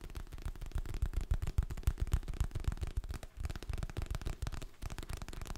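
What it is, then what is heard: Hardcover book, tapped and scratched. A medium, solid hardcover paper book with a glossy printed cover is held in both hands close to the mic while fingertips and nails tap and scratch across the cover. The taps come quickly and unevenly, about three to four per second, as short, dull, low thumps with almost no ring, mixed with faint scratchy clicks.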